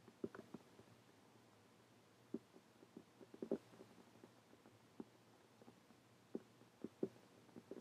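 Long painted fingernails tap and scratch on a closed dark hardcover journal with a birdcage print on its cover, lying on a table. About ten quiet, dry, hollow taps come at irregular intervals, each dying away almost instantly, between soft scratching and a faint steady low hum.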